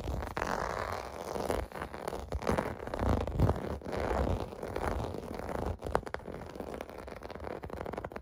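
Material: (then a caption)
Plastic. A hand scratches across a large clear-blue plastic or vinyl bath mat with rows of domed bumps, using fingertips and short nails. The result is a steady, dense, rough scratching texture, full in the low and middle range with little brightness. It swells and eases in uneven strokes, with a few sharper ticks near the end.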